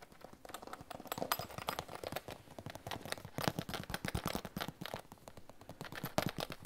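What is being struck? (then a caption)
Plastic pencil case. An iridescent holographic PVC pencil case, hollow and held over a table, is tapped with long fingernails. Quick, dry clicks come in rapid, uneven runs with a faint hollow plastic tone and almost no ring.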